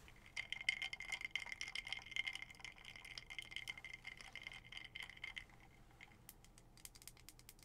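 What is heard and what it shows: Long acrylic nails tap rapidly on a skull-shaped glass mason jar with a black lid and a straw, filled with an orange drink. The quick, bright clicks carry a ringing glassy tone near 2.1 kHz for about five seconds, then fade to a few sparse, sharp taps.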